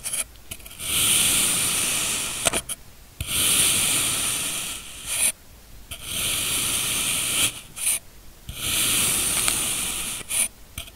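A steel knife in a black-gloved hand slices successive thin layers off a solid, packed blue kinetic sand block. Four long, crumbly, rasping strokes, each bright and hissy with a sharp crackle at its end, are separated by near-silent pauses.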